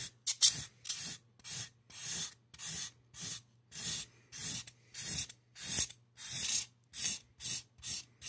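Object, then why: Styrofoam mannequin head. A gloved hand makes short scratching strokes with a black marker over the crown of a solid white styrofoam mannequin head. It produces a steady series of bright, hissy rubbing bursts separated by brief silences, with almost no low end.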